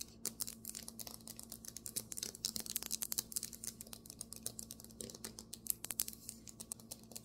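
Fingernails tap quickly on a marble table top, making a dense stream of sharp, bright clicks that stop almost instantly, over a faint steady low hum.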